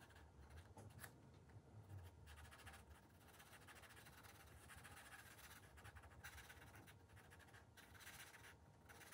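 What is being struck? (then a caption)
Felt-tip marker on a thin paper page. A blue marker's felt tip scratches back and forth across the thin paper page of a spiral-bound coloring book while coloring small areas. The result is a quiet, continuous, dry scratching with brighter bursts of hiss on each stroke, over a soft low rumble.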